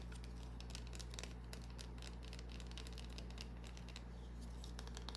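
A small, solid green bar of soap held in the hand is scratched with long nails. Quiet, crisp scratching ticks come in an irregular patter, bright and brief, over a steady low hum.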